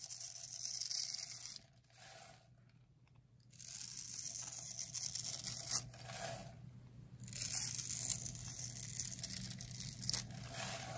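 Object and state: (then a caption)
Dry soap bar being carved. A utility knife blade scrapes and carves the textured surface of a solid, palm-sized green bar of dry soap, held in one hand with long red nails, into crumbly shavings. Bright, crisp crackling and tearing scrapes come in bursts, with quiet pauses around 2–3.5 s and 6.5–7.5 s, over a steady low hum.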